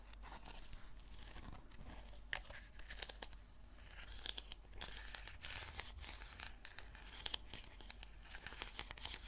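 Long fingernails scratch the sides and ribbed lid of a small purple plastic slime tub, making a quiet, continuous scratching and crinkling over a steady low hum. Bright, dry rasps stand out now and then, each stopping at once with no ring.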